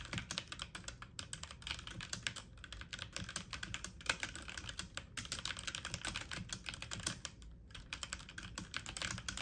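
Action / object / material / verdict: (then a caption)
tap / plastic mechanical computer keyboard / plastic / none. Fast typing on a full-size backlit mechanical keyboard with plastic keycaps, the keys pressed with fingertips and medium nails. A dense, steady stream of short, bright clacky taps runs throughout, broken by brief pauses, with each tap dying away almost instantly.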